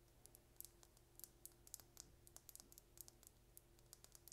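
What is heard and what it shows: Long painted nails tap rapidly on a small, slim, hollow purple plastic lip gloss tube with a gold and blue cap, held in the hand. About two dozen quiet, bright, dry clicks fall in a quick, uneven rhythm, each dying out instantly, over a soft steady low hum.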